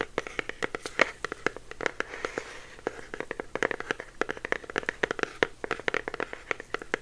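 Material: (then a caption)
Cardboard. A small, hollow, orange printed cardboard box with a clear plastic window is held in the hands and tapped and scratched with the fingertips. A rapid, irregular run of short, dry taps with brief papery scratching comes through, each tap sharp and bright around 2 kHz and dying away almost instantly.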